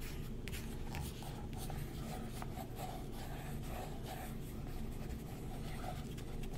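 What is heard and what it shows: A thin wooden stick traces and scratches over the printed advertisement page of an open glossy paper magazine, held flat by a hand. A steady low, dry scraping continues throughout with faint bright ticks of the tip on the paper.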